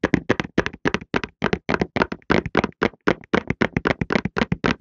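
A rectangular printed cardboard Softlan tissue box, hollow and filled with tissues, is held in both hands in front of the mic and tapped and knocked with the fingertips. Quick, uneven bursts of dry, hollow knocks with a low papery body and soft bright edges follow one another with short gaps, each tap dying away almost instantly.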